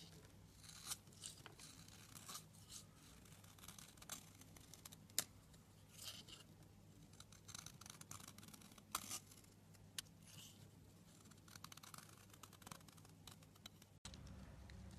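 A blade scrapes and cuts along the edge of a blue soap bar, making a steady run of dry, bright scratching and shaving sounds with many quick crisp clicks over a low hum. The sound cuts off abruptly near the end, leaving a brief steady noise.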